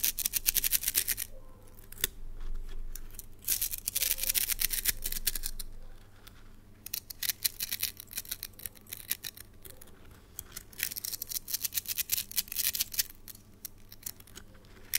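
A red plastic slinky spring toy with a hollow coil is stretched, dropped and shaken between the hands so the coils click together. Rapid, irregular bright clicks and rattling swell into dense, hissy bursts, then thin out to sparse ticks before building again. A faint low hum runs underneath throughout.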